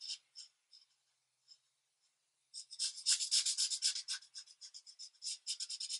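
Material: Paper.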